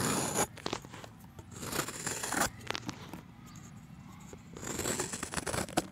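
A steel utility knife blade scrapes and shaves the face of a solid round chalk disc, curling flakes off it. Bursts of dry, gritty scraping with bright hiss alternate with quieter stretches of light scratching and small crisp ticks.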